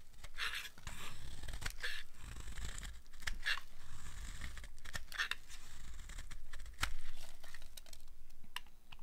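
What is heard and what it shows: A steel utility blade scrapes and carves thin, crunchy curls off a solid rectangular bar of dry black soap held in the hand. Continuous dry scraping and crunching strokes run throughout, with a steady low rumble underneath and brief bright, crisp crackles as each curl breaks away.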